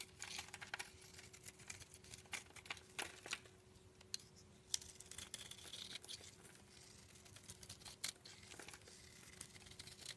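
A utility knife blade shaves thin curls off a solid black rectangular soap bar with an embossed logo, held in the palm. Soft, bright scraping and crinkling strokes come in quick irregular bursts with a few sharper clicks, over a faint steady low hum. The level stays quiet throughout.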